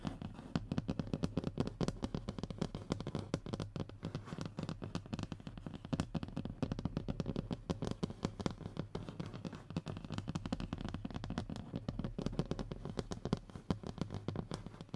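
Short fingernails rapidly scratch and tap a flat, thin, solid brown hardboard (fiberboard) panel. The result is a dense, continuous stream of crackly, dry clicks that die away almost instantly, with a dull, low-heavy tone and little brightness.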